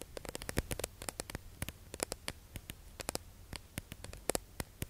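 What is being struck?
Plastic sponge package tapped with acrylic nails.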